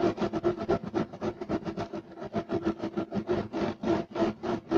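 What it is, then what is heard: Woven fiber carpet being scratched. Both hands scratch fast with fingertips and nails across a flat, solid, beige striped woven fiber carpet. Rapid, uneven bursts of dry, rasping scrape repeat about four times a second, with a low-mid body and a bright fibrous hiss on top. Each stroke stops short with no ring.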